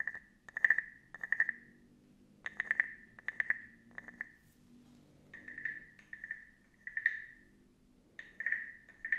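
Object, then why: Small carved wooden frog guiro. A small carved wooden frog guiro, hollow with a ridged back, is held in one hand and scraped along its ridges with a small wooden stick. Each stroke makes a short, rattling croak with a clear, hollow ring near 1.8 kHz. The strokes come in a series of bursts separated by brief pauses, over a faint low background hum.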